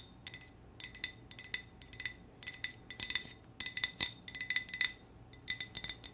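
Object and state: Glass hurricane lantern tapped with fingernails.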